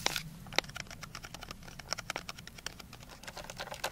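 A medium clear glass jar with a gold metal lid, nearly full of white tablets, is held in the hands, tapped with long dark nails, then shaken and tilted near the ear. Sharp bright ticks from the nails are followed by a dense, quiet patter of tablets rattling and clicking against the glass. The sounds are dry and short, with almost no ring.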